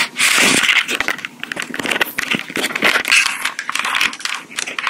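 Long pink acrylic nails tap and scratch the body of a small, hollow black plastic Tascam portable recorder with metal mic capsules. The result is a dense, irregular stream of bright, crisp clicks and scratchy rasps centered around 2.6 kHz, with almost no low end. Each tap is short and quickly fading, swelling and easing in bursts throughout.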